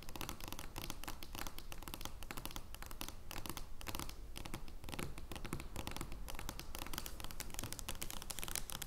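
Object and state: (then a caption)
Cardboard playing card scratched with nails. Long dark-blue painted nails scratch across an oversized, thin printed cardboard joker playing card lying flat on a wooden table. A dense, steady stream of quick, rough scratching strokes with bright crackly texture continues throughout, sitting over a low, soft rumble.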